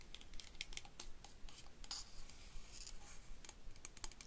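A small stake-type solar garden light with a stainless steel cap and hollow tube, a clear plastic lens section and a dark solar panel on top is held and turned in the hands while fingernails scratch and tap the metal. A quick, irregular run of short, dry clicks and scratches is heard, bright and tinny with almost no ring, over a faint low rumble.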